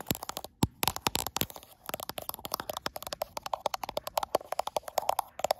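Long acrylic nails rapidly scratch and tap across the frosted glass back of a gold iPhone Pro, the hand moving quickly. The result is a dense run of sharp, dry clicks with bright tops and a hollow midrange tone, each tap dying away almost instantly, mixed with brief scratching swipes.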